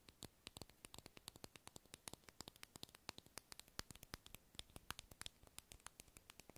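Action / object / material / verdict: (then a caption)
tap / small round plastic lip balm container / plastic / none. Long acrylic nails tap and scratch a small, light-blue, round, hollow plastic lip balm egg held in the hand. Dozens of quick, dry, bright clicks fall in an uneven patter, each dying away instantly over a soft, hissy scratching bed, all at a quiet level.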